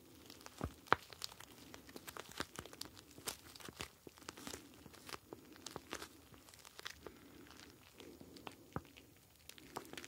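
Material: Plastic.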